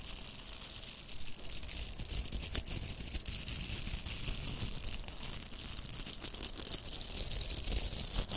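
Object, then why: Plastic velcro hair rollers. Long nails scratch along the bristled surface of two pink, hollow velcro plastic hair rollers held side by side. The result is a steady, dense, bright scratching and crackling texture with a soft low rumble underneath, holding an even level throughout.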